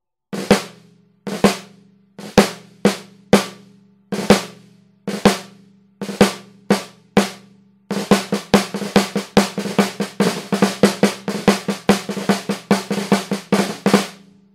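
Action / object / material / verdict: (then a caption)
strike / brass piccolo snare drum / brass / none. A Pearl 14-inch shallow brass piccolo snare drum, with a hollow metal shell and coated plastic head, is struck with wooden drumsticks. Spaced single taps and pairs give way to a faster run of strokes in the second half. Each hit is a crisp, bright crack over a short ringing tone around 200 Hz that dies away quickly.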